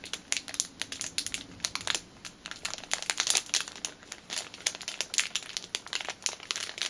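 A small clear plastic packet holding a black rubber fitness band is held in both hands while long painted nails crinkle and rub the bag. Dense, bright crinkling and crackling fills the clip with many quick sharp bursts and almost no low end.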